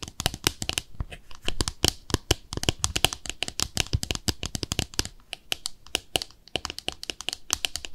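A small white glossy ceramic soap dish with peg feet is held on its side while long nails tap and scratch its underside and feet. Rapid, sharp, bright clicks and taps come in quick bursts over a soft scratching texture, each tap dying away almost instantly with a brittle, glassy ring.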